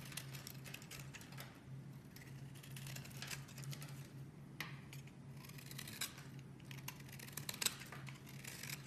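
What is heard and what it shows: A metal utility blade scrapes and shaves curls off a solid, palm-sized, cream-colored bar of soap held in the hand. Quiet, dense, bright scratchy shaving sounds run continuously over a steady low hum, with a few sharper crackles here and there.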